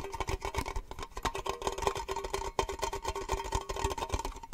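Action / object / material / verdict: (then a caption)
tap / small thin metal tin / metal / none. A small, hollow, triangular metal cake-slice tin, open and empty and held in the hands, is tapped with fingernails on its lid and sides. The taps come in a fast, continuous stream of short, bright metallic clicks with a faint ring around 400 Hz and 1 kHz.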